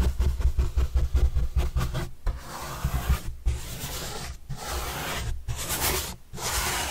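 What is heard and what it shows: A paintbrush with a red-and-black handle brushes the surface of a large, flat, white corrugated cardboard pizza box with green edges, held upright and hollow. Quick, rhythmic scratchy strokes with a hollow, low boom give way to longer, steadier sweeping strokes of bright rasping hiss, separated by brief pauses.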